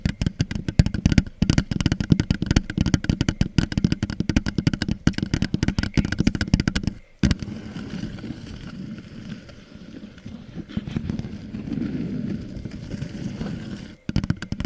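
Long painted nails tap and scratch the sides of an empty red plastic party cup held upside down over the microphone. Its hollow, thin plastic gives a dense run of rapid, low, hollow taps for about seven seconds. After a brief pause, softer, steady scratching follows, then a short silence before the tapping returns.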